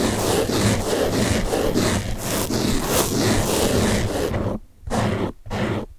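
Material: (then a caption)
Foam. Fingertips scratch the top of a large blue open-cell foam car sponge, then both hands hold and rub it. The result is a steady, dense, scratchy rustling with a low rumbling undertone, broken near the end by two brief silent gaps before the rubbing resumes.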